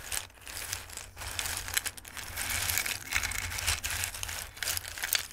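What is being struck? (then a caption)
Dried pasta pieces. Hands scoop handfuls of dried tricolore Christmas pasta from a dark bowl and rub the pieces together, shuffling them. The result is a dense, continuous crisp rattling and rustling that is mostly high and bright, with small rises and dips, over a faint steady low hum.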